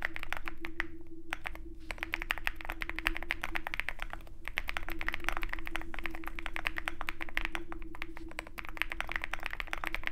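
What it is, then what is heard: Mechanical keyboard being typed on. Fast, steady typing by both hands' fingertips on a compact 65% mechanical keyboard with a dark aluminum case, white and pink plastic keycaps, and lubed switches. The rapid stream of crisp clacks peaks around 1.7 kHz with bright edges, over a faint constant low hum and a steady tone near 350 Hz. Brief pauses in the rhythm fall around 1 and 4.5 seconds.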